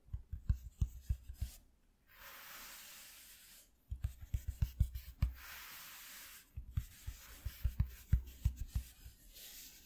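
Fingertips with short nails scratch and rub the ribbed surface of a flat white corrugated cardboard piece, cut from an empty shoe box and lying on black cloth. Clusters of quick, irregular, dull low taps alternate with stretches of steady, bright, hissing scratching across the ribs.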